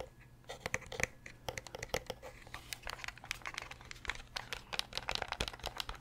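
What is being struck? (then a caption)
Hard plastic game controller. Fingernails tap rapidly on the grips and shell of a hollow, translucent purple Nintendo 64 controller made of hard plastic. The result is a quick, uneven run of sharp, dry clicks with a bright, high edge, each stopping almost instantly, over a faint low hum.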